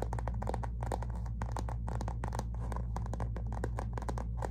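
A medium, flat, silver-rose metallic textured faux-leather zip cosmetic pouch with a Christian Siriano print, soft-sided and apparently empty, is held up and scratched and tapped with long natural fingernails. Quick, uneven crinkly scratches and light taps repeat steadily over a constant low hum.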